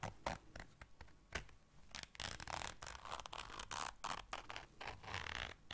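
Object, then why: Small fabric zipper case. A small round black fabric zipper case is held in the hands while long dark nails zip it and scratch across its surface. The result is a run of quick, dry zipping rasps and scratchy bursts that swing between quiet and loud, with bright, broadband texture and very little ring after each stroke.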